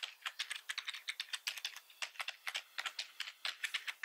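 Fingertips of both hands type continuously on a black plastic computer keyboard with red keys. About 27 quick, bright plastic clicks and clacks come in a steady, uneven rhythm, each dying away almost instantly with no low-end thump.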